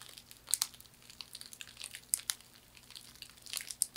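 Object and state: Woven straw hand fan.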